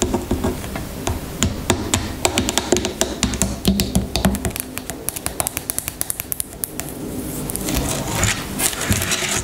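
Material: Plastic.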